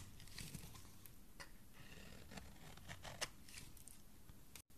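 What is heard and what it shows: A thin, solid remnant of a pink oval bar of soap, held between fingers, is shaved with a metal utility blade. Soft, crisp scraping and crumbly shaving ticks run quietly throughout, with bright, brief transients and one sharper click past the three-second mark. The sound cuts to silence for an instant just before the end.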